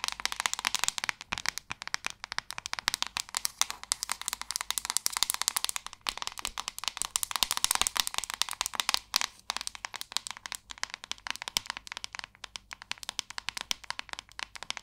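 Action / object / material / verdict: tap / plastic paddle hairbrush / plastic / none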